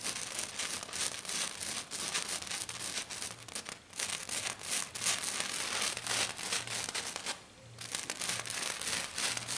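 Both hands with curled fingers and black nails scratch hard and fast across a flat silver glitter-covered sheet. The result is a dense, bright, crackling rasp, mostly high-pitched, that runs almost continuously with only a brief lull near the end.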